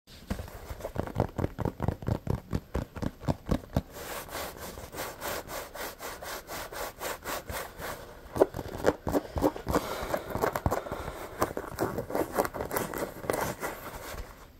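Fingertips and short nails scratch and rub the textured surface of a small, hollow, pebbled rubber basketball held in one hand. Quick, rhythmic raspy strokes give way to a steadier, softer rubbing, then pick up again in fast, scratchy bursts with a dull, hollow body.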